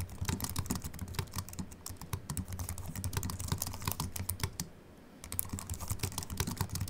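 Both hands type continuously with the fingertips on a slim Apple Mac keyboard with an aluminium body and white plastic keys. Rapid, short, bright clicks run over a steady low hum. The typing pauses briefly just before the five-second mark, then resumes.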